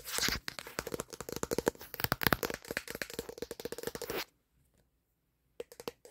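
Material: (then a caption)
Plastic. Fingertips quickly tap and scratch the plastic back panel of a black smartphone held in one hand, making a dense run of dry, clicky taps mixed with scratchy, crinkling rasps with a bright edge. The flurry lasts about four seconds, falls silent, then a few last quick taps come near the end.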